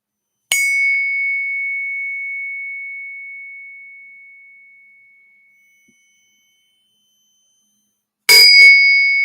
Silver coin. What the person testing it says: That's what silver sounds like.